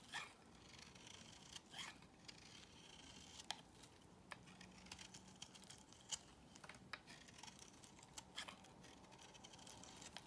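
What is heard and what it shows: Curls are shaved off a solid beige bar of soap held in the hand with a box cutter blade. Quiet, crisp, bright scraping strokes and short sharp ticks come at irregular intervals over a faint steady hiss.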